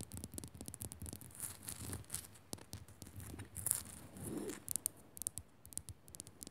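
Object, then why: Rock salt lamp. Fingers quickly scratch and tap a rock salt lamp. Dense, gritty scratching rasps mix with sharp, bright clicks and dull low thumps, and each tap dies away at once with no ring. The sound stays quiet throughout.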